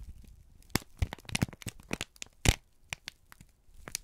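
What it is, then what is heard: Crumpled kraft paper. A wrinkled brown kraft paper strip is squeezed and crinkled by both hands, giving a quick run of sharp, bright crackles and crisp crinkling bursts over a soft low rumble. Fourteen short snaps stand apart, the loudest near the middle, each cutting off almost instantly.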